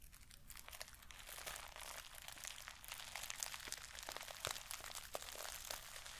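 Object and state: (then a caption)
Sequin pouch. Long fingernails scratch and rub the plastic sequins of a small sequin-covered mermaid bag held close to the microphone. It makes a dense, bright, crinkly scraping with many sharp little clicks and crunches that stay steady throughout.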